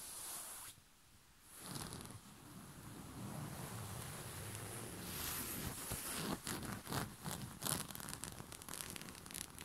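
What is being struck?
Cotton bed sheet.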